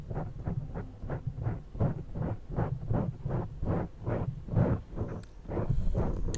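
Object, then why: Foam microphone windscreen. Fingertips and long purple-painted nails cup and rub both sides of a soft, hollow black foam windscreen on a Zoom recorder mic, rubbing and lightly scratching it. The result is a steady run of muffled, booming swishes that swell and fade in a quick rhythm, heavy in low rumble with only faint brighter scratchy ticks near the end.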